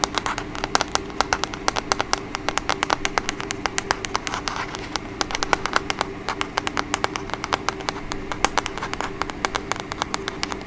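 Long acrylic nails rapidly tap and scratch the back and sides of a small, hollow, black plastic TV remote control held upright close to the microphone. A fast, uneven stream of sharp, bright clicks and ticks with very short decay plays over a faint, steady background hum.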